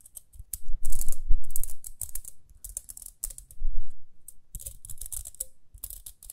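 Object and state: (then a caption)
Plastic hair brush, fingernail flicks and scratches. Long fingernails rapidly flick and scratch the toothed rim of a small, round, pink plastic hair brush with dark bristles. It makes quick, dry, bright clicks and scratchy rasps in irregular bursts, with dull low thumps underneath, swelling to a dense flurry near the start and again in the middle.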